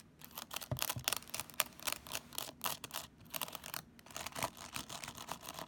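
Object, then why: Plastic graphing calculator. Long nails tap rapidly on the keys, screen and casing of a black plastic graphing calculator held upright. The result is a steady stream of quiet, dry, bright clicks and ticks with no ring after each tap.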